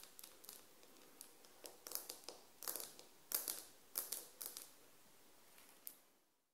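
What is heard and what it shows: Long nails on both hands tap and scratch a solid glazed ceramic floor tile around a SHEIN sticker. The result is a quiet run of rapid, bright, irregular clicks with short scratchy bursts, each decaying almost immediately.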